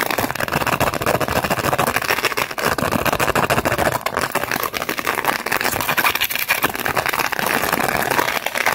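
A small, thin, empty clear plastic blister pack with a foil backing is held in both hands while long acrylic nails scratch and crinkle its plastic bubbles. The result is a dense, continuous stream of fast crackling and scratching with bright, papery crinkle and almost no low end.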